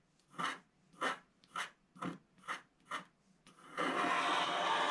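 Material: Wax coating.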